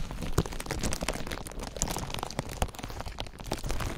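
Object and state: Crinkled clear plastic film.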